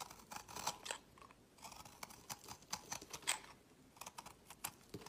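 A solid translucent orange bar of soap, held in the fingers, is shaved into pale curls with a utility knife blade while a second bar lies in the background. Quiet, crisp, bright scraping strokes come in quick irregular bursts, each dying away almost at once, with almost no low end.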